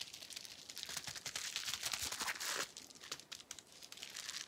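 A small clear plastic bubble wrap sheet with air-filled bubbles is held in the hands while fingers squeeze and pop the bubbles. Dense, bright crinkling runs throughout, punctuated by quick sharp pops at an uneven pace. It swells to a louder stretch in the middle before settling back into softer crackles.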